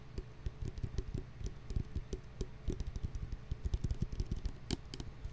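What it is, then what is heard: Plastic hand sanitizer bottle. Fingernails tap rapidly on a clear plastic hand sanitizer bottle with a flip cap, partly filled with gel and held in the hands. The taps are short, dull and low-pitched, with faint bright clicks on top, and each dies away almost instantly in a quick, uneven patter.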